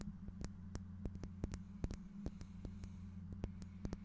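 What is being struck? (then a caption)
Small faceted glass piece. A small, clear, faceted glass piece that looks solid is held in one hand in front of the microphone and tapped and scratched with fingernails. About eighteen quiet, dry clicks ring out with almost no sustain, each a sharp, bright tick, over a steady low electrical hum.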